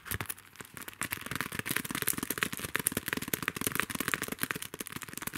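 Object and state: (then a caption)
Plastic sticker sheet in a clear sleeve, tapped and scratched. A flat sheet of small cosmetic-themed plastic stickers inside a clear plastic sleeve is held in one hand and tapped and scratched with the fingernails of the other. Rapid, dense crinkly clicks and scratchy rustles come in a steady stream, bright and crisp with little low end.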